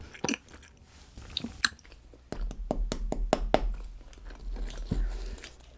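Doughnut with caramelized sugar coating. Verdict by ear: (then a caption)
Hard. A crème brûlée doughnut with a hard, glass-like caramelized sugar coating is tapped, then bitten. Brief sharp clicks give way to a run of crisp, crackling crunches over low chewing rumble as the sugar crust breaks.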